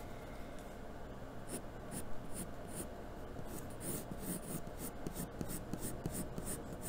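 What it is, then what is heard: Pencil on drawing paper. A graphite pencil held in the hand strokes a sheet of white drawing paper taped flat to a cardboard desk surface. It makes repeated scratching and shading strokes, with soft, dry rasps and faint bright scratchy edges over a low, steady background.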